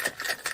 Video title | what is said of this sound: What Did People Drink 100 Years Ago? - Pat and Julia - StoryTime Cocktails | shake it until I hear the ice start to break up